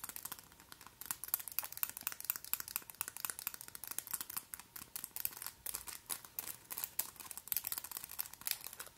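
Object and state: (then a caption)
Acrylic nail extensions clicking. Extremely long, white, pointed acrylic (plastic) false nails on both hands are interlocked and tapped and clicked against each other close to the microphone. A rapid, steady stream of crisp, bright clicks and ticks, like fast typing, with almost no low end. Each click stops dead with no ring.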